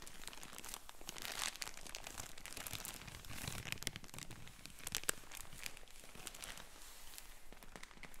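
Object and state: Plastic mailer bag.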